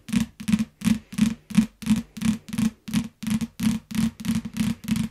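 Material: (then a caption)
Paper, plastic. A yellow paperback book in plastic wrap, lying flat, is tapped and scratched with long nails. About fifteen evenly spaced, fairly regular bursts are heard, each a short low thud near 220 Hz blended with a bright crinkly scratch. Each burst dies away quickly.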